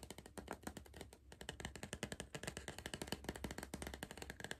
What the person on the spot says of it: I'm tapping on a cardboard crisp tube